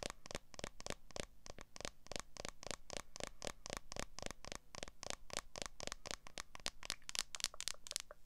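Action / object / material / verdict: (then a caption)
tap / smartphone in a plastic case / plastic / none. Long nails rapidly tap and scratch the back of a smartphone in a clear plastic case held in front of a microphone. A quick, uneven stream of crisp, bright clicks and short scrapes runs for about eight seconds over a faint steady low hum. Each tap dies away almost instantly.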